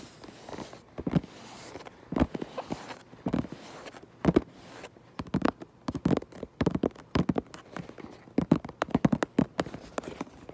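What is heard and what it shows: Long nails tap on the back of a cardboard Minecraft Lego box, making quick, dry, hollow taps in an irregular rhythm, some single and some in fast clusters. Each tap dies away almost at once, with a faint scratchy rustle between them.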